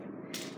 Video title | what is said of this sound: Guide to Cane shopping | it just sounds like a regular tip